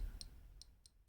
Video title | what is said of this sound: Escapement Time Classique Dress watch | it sounds very tinny you know just tapping on it with my nail